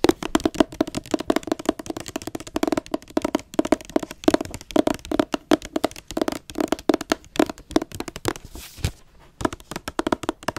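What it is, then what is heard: Hardcover book with glossy dust jacket. Dozens of quick fingernail and fingertip taps land in fast runs, each a short dry click that dies almost at once. A soft boxy tone near 300 Hz comes from the board cover, while the glossy jacket adds a slight crisp edge.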